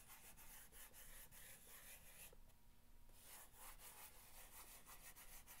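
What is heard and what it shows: An index fingernail scratches back and forth across the top of a long, hollow corrugated cardboard box, making a rapid series of dry, rasping strokes. The scratching briefly pauses in the middle, then resumes with the same steady, gritty rhythm.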